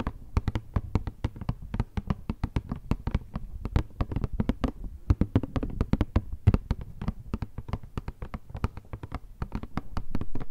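A hollow rectangular cardboard Kleenex tissue box with a tissue sticking out is tapped with long nails and fingertips on its sides and top. The result is a rapid, steady run of short, dry taps with a low, hollow thump and sharp, bright clicks that die away almost instantly.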